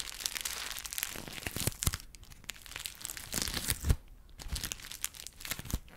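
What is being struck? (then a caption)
Small folded paper piece. A small folded piece of white paper is crumpled and crinkled between fingertips. Dense, bright crackling comes in irregular bursts with sharp louder snaps, and the paper has a dry, papery texture with quick decays between movements.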